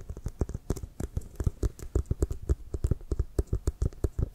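Fingertips and nails tap on the surface of an inflated, hollow leather American football held horizontally. A rapid, uneven run of short, dull, low thumps plays out, each dying away almost instantly with only faint higher clicks from the nails.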